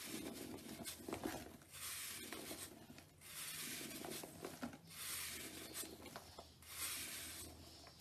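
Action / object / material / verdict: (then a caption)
scrape / soap block / soap / none. A blade scrapes across the face of a large, solid, dried and crumbly pale green soap block held over a white tub, knocking powder loose. Repeated dry, bright, raspy scraping strokes rise and fall in steady waves with a soft crumbly texture underneath.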